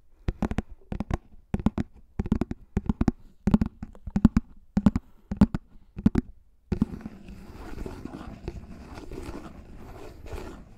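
Fingertips tap on the top of a thin, hollow, pink plastic frisbee about 20 cm across, held above the mic, in quick clustered bursts of sharp, hollow clicks with a low resonant tone. After a short pause, they slowly scratch its top surface and edge, giving a steady, soft, brushy rasp for the rest of the clip.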